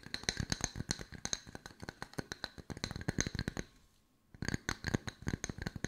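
Long white nails tap and scratch two small, solid, round wood log slices with bark edges, one held in each hand. The result is a rapid run of short, dry clicking taps with a bright, high edge and a low knock under each one. The taps pause briefly just before the 4-second mark and then resume at the same quick pace.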